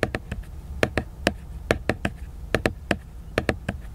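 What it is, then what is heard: Cardboard hardcover book. Fingertips tap the glossy cover of a large, solid, flat laminated cardboard hardcover book. Fifteen short, dry taps land in loose pairs and groups, each with a soft, hollow body and a bright click that dies away almost instantly. A faint low hum sits underneath.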